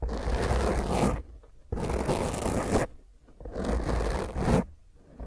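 A small, rounded black foam microphone windscreen is scratched intensely with the long fingernails of both hands. Three rough, dense bursts of scraping and rustling come through with a heavy low rumble, separated by short, quieter pauses.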